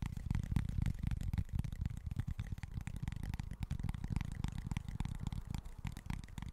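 Short nails scratch and tap across the face of a small flat cork board. The result is a dense, steady run of quick, dry, muffled taps and scrapes, mostly low and dull with little high-end brightness and almost no ring after each touch.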